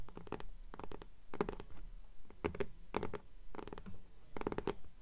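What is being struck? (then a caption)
Paper-covered hardcover book. Long polished nails tap and scratch the cover of a hardcover "Fairies" book with a pale green paper dust jacket, which starts flat on a table and is then held upright in both hands. Quiet, dry clusters of quick taps and scratchy rasps come in irregular bursts, with a dull, low-weighted thud and a mid papery tone that dies away almost instantly.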